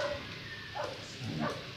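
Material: Nothing is struck.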